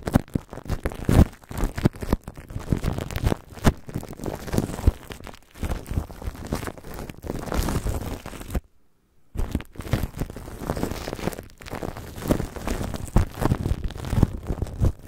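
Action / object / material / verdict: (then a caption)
tap / plastic cling film stretched over a microphone / plastic film / none. Clear plastic cling film is stretched over a microphone grille while fingertips and long nails tap and press on it from above. The result is a dense run of crinkling, crackling taps with a heavy, muffled low end and little brightness. The taps break for a brief silence just before the ninth second.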